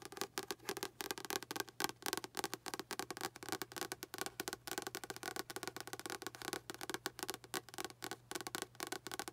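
Long acrylic nails tap rapidly on the front cover and spine of a blue paperback novel, "Out of My Mind," with a paper/card cover and solid paper block, held upright in both hands. The taps are quiet, dry, bright clicks that stop instantly with no ring, over a faint low hum.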